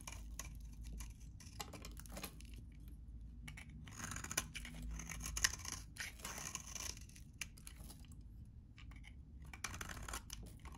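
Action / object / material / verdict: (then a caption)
scrape / bar soap shaved with a metal blade / soap / none. A metal utility blade shaves and cuts into the cut face of a very dry, solid green bar of vintage soap held in the hand. It makes repeated dry, crunchy scraping bursts with bright hiss over a steady low rumble, as crunchy flakes come off the bar.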